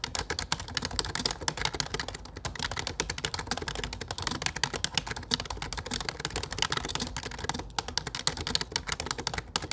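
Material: Plastic.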